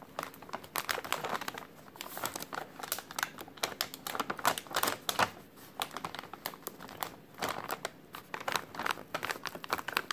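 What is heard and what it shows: A white translucent plastic takeout bag printed with a menu is crinkled and squeezed by hand for about ten seconds. It makes dense, sharp, bright crackles in bursts, with short quieter pauses and almost no low end.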